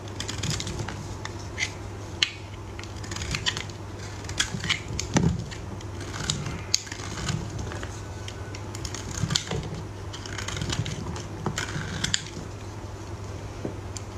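A utility knife blade cuts into a solid, dry yellow bar of soap held over a blue tray. The sound is a run of crisp, crackly crunches and short bright scrapes, with a steady low hum underneath.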